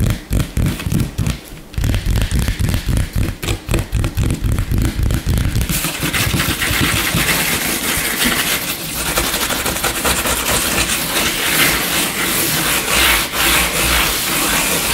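Short nails tap and scratch fast on a flat, solid, light-colored wooden tabletop. For the first six seconds there are rapid, uneven taps with low thumps. Then comes continuous bright, gritty rubbing and scratching, with a brief pause where the hands lift.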